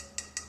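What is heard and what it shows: Three quick taps on a low-fire ceramic vase covered in a mosaic of glued mother-of-pearl shell pieces, dyed midnight blue and lacquered. Each tap is a short, bright click that dies away almost at once, with most of its energy high up. The vessel sounds like ceramic.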